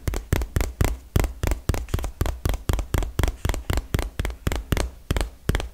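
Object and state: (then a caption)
Cardboard box tapped with fingernails. A small, hollow, printed cardboard retail box is tapped rapidly with long fingernails. About 21 quick, dry taps come in an uneven rhythm of roughly four per second, each a sharp click over a low hollow thump that dies away almost at once.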